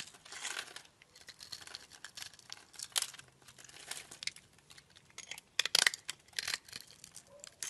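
A craft knife blade scrapes scored cubes off a solid, translucent, light blue oval glycerin soap bar held in the palm. The result is a series of bright, crinkly cutting and crackling bursts, with the loudest scrape near the end.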